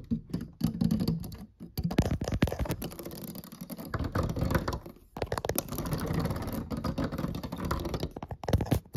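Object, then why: Plastic piano keys. Fingertips and short nails tap rapidly and lightly across the solid black and white plastic keys of a piano or digital keyboard. The taps are dense, dull and clicky, weighted toward the low end with little brightness. Each dies away almost instantly, and no notes sound.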